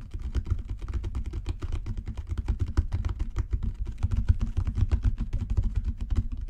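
Fingertips tap rapidly on a genuine leather cover, making dense, soft, low-pitched thuds in a quick, uneven rhythm. Each tap is dull and dies away almost at once.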